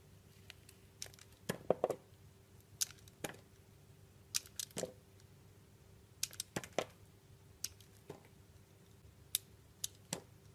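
A round solid blue soap bar with a pink swirl, held in the hand, is cut and scraped with a metal utility knife blade. Short, crisp, bright scraping and cutting clicks arrive in irregular bursts, each dying away almost instantly. A faint, steady low hum runs underneath.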